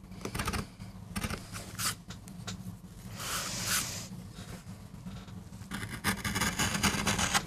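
A metal gouge carves and scrapes fine lines into the surface of a small, flat, solid MDF board. Short, dry, scratchy strokes come in an irregular rhythm with bright, hissy edges, over a steady low hum, and a longer smoother scrape in the middle. Each stroke stops at once, with no ring.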